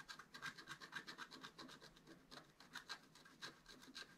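A wooden stylus scratches the wax coating of a flat black scratch-art paper card, held in one hand, around the right squirrel in the picture. A quick, uneven series of short, dry, raspy strokes is heard, about two per second, with a bright, papery hiss and no low end.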